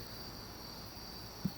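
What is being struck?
Nothing is struck.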